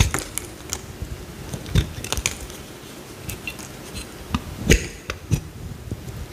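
A small, solid cream bar of soap is held in the hand and cut with a utility knife blade, with thin slices peeling off. Short, dry crackling cuts and soft low thuds with crisp, bright edges come at irregular intervals over a quiet background, each dying away almost instantly.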